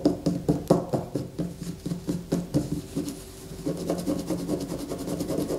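A solid white bar of soap resting on a paper poster is gripped with both hands and scratched with long fingernails. Quick, uneven scratching strokes sound dry and crumbly, with short, dull attacks. A brief quieter moment comes midway before a denser run of faster scratching.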